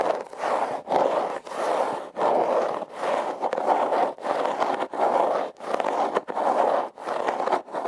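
A hollow, red, heart-shaped corrugated cardboard box is held and scratched with long red nails. Steady, rhythmic strokes of dry, raspy scraping come in repeated bursts separated by brief pauses, centered in the mid-range with little low end.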